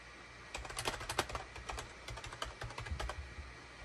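A gray SHIPADOO K600 full-size wired USB keyboard with a hollow plastic case and cream, gray and orange plastic keycaps sits on a desk mat and is typed on rapidly with the fingertips of both hands. Quick, bright plastic clicks and clacks sound in a fast, uneven run over a low steady hum, each key strike short and dry with almost no ring.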